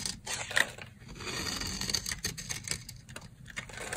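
A solid, dry brown soap bar held in the hand has its edge shaved into fine curls with a box-cutter blade. The result is a continuous dry, crisp scraping with bright, rasping texture and quick clicky catches, peaking around 1.9 kHz. It has very little low end and stops short with no ring.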